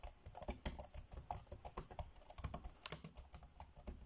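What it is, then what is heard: Plastic laptop keyboard. Fingertips tap rapidly on the dark grey plastic chiclet keys of a laptop keyboard, typing fast. Each keystroke is a short, dry click with a bright edge and a soft low thump. The quiet taps come in a steady, uneven patter and die away almost at once.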